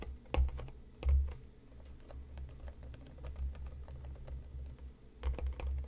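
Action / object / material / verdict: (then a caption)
tap / cardboard tea box / cardboard / none. Fingernails tap rapidly on top of a hand-sized, hollow printed cardboard tea box resting on a cutting mat. The result is a quick, uneven patter of short, crisp clicks over a low, hollow thud that resonates briefly. A few heavier knocks land near the start and again near the end.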